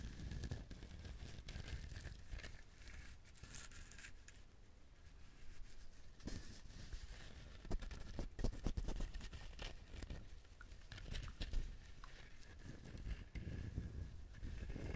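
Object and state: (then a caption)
Whole coconut shell. A whole brown dehusked coconut, its fibrous, hard, hollow-sounding shell held in both hands next to a binaural mic, is scratched and tapped by fingertips and nails. Dense scratchy rustling is broken by many short, dull, low taps.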